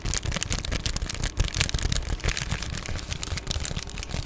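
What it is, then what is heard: Plastic bubble mailer. Long painted nails scratch and tap on an Amazon Prime padded poly bubble mailer, rolled or folded and held close. The result is a steady, dense run of crinkly, bright plastic scratching with short tapping accents and a low, close-held rumble underneath.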